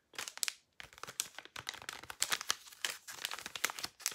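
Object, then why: Thin plastic blister pack with cardboard backing. Thin clear plastic blister packaging with a cardboard backing, holding a white powder puff, is crinkled and scratched with long nails. Dense, bright crinkling and crackling bursts sound in quick, irregular clusters with brief pauses, each snap dying away almost instantly and carrying no low end.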